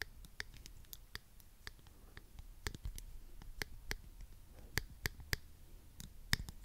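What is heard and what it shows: A small, hollow pink plastic claw hair clip with toothed jaws is held close to the microphone and clicked open and shut with the fingertips. It makes a quiet, irregular series of sharp, bright plastic clicks over a low, soft rustling background, and each click dies away almost instantly.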